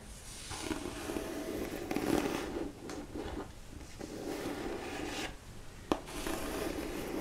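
A medium-sized black hardcover book, held upright in both hands, is slowly rubbed on its cover with long manicured nails. The result is a soft, continuous scratchy rubbing with a low-mid body, broken by a few brief pauses and one short sharp tick near the end.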